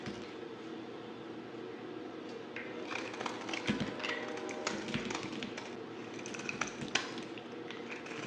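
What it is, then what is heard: Bar of soap being scraped and sliced. A palm-sized solid white bar of soap with purple glitter swirls is held in the hand while its surface is scraped and sliced with a yellow utility knife blade. Soft, irregular scratchy crackles and brittle snaps rise over a low, steady hiss, with a few sharper clicks standing out near the end.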